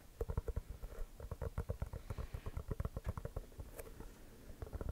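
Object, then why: Composite leather basketball. An inflated, hollow composite leather basketball is held close and tapped and scratched with fingertips and short nails. The result is a quick run of soft, dull thumps with a deep, boomy low end, mixed with light scratchy rustling. Each tap dies away almost at once, and there is one brief bright scratch near the end.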